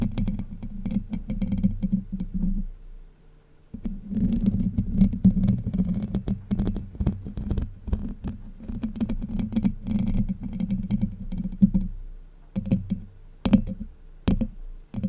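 Long white nails scratch across the hollow domed steel mesh grille of a Blue Yeti microphone, making a dense, low, rumbling scrape centered around 200 Hz. The scratching runs almost continuously, dropping out briefly after about 3 seconds and again near 12 seconds. It ends in a scatter of sharp, bright taps and clicks.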